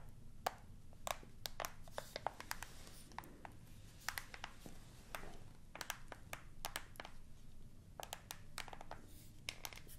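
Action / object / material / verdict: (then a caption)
tap / plastic TV remote control / plastic / none. A black plastic TV remote is held upright in one hand while its buttons are pressed and tapped with fingertips and nails. The result is many short, sharp, bright clicks scattered irregularly, some in quick clusters, over a quiet, low background rumble.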